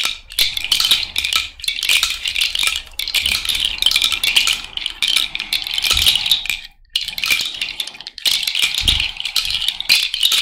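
A cowrie shell bracelet worn on the fingers is shaken so its hollow shells rattle against each other. It makes a dense, bright clatter of quick clicks that die away almost at once, in bursts with brief pauses, the longest just before 7 seconds.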